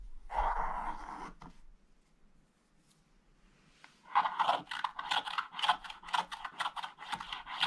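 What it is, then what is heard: Scratch-art paper page being scratched. A wooden stylus scratches the black coating in the lower corner of a scratch-art page in an open book, with loose flakes scattered on the page. A dry, crunchy scrape of just over a second is followed by a near-silent pause, then a quick, uneven run of short, bright scratching strokes.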